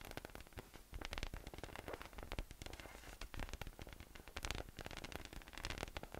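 A hollow, air-filled yellow inflatable PVC massage ball with nubs, resting on a white table, is tapped from above with fingertips. Rapid, continuous soft taps make low, hollow thumps with a crackly, rustling texture. Each tap dies away almost at once.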